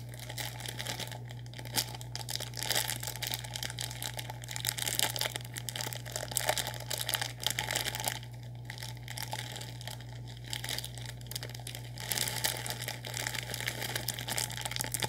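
A full, sealed orange plastic instant noodle packet is held up and crinkled with the fingertips. Dense, bright crackling rustles continue throughout with short pauses, over a steady low hum.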